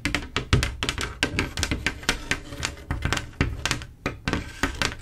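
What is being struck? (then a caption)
Mirror glass mosaic tile panel. Long acrylic nails tap across a flat panel of silver mirror-glass mosaic tiles set in grout, making a rapid series of short, bright clicks with a light low thud beneath each one. The taps fall in quick, uneven clusters and die away almost instantly, with faint music possibly playing in the background.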